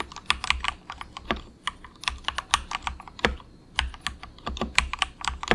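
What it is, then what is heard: Plastic mechanical keyboard. Fingertips of both hands type softly on a very inexpensive compact 68-key mechanical keyboard with dark grey plastic keycaps. An irregular run of short, bright keystroke clicks, each with a faint low thud beneath, decays almost instantly. Brief pauses break up the quiet, steady typing.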